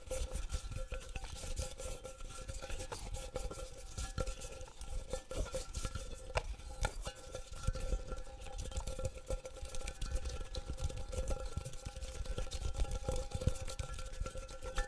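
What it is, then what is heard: Round metal tin. A small round hollow metal tin is held in both hands and tapped and scratched with the fingertips and nails. The result is a steady stream of quick, dry taps and scrapes over a low body. A faint ringing tone sits near 530 Hz.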